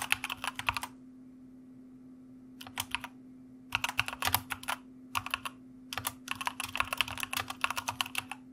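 Fingertips type on the keys of a white plastic mechanical keyboard in several bursts of quick, bright clicking separated by short pauses. A steady low hum runs underneath throughout.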